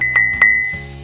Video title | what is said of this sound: Une Journée à MAREDSOUS : Des Moines, un Étudiant & le SECRET de la Céramique 🏺 | Si ça sonne comme ça, c'est que c'est assez cuit. Si ça fait ça, c'est du carton.